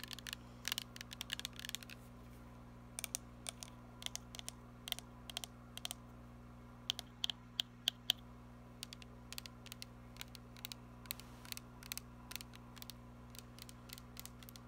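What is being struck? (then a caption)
Plastic spray bottle with metal cap. Long nails tap along the body and near the metal spray cap of a glittery plastic body mist spray bottle with liquid inside. They make quiet, sharp, bright clicks in irregular clusters, each dying out almost instantly, with a faint ring near 3 kHz on some taps. A steady low hum sits underneath throughout.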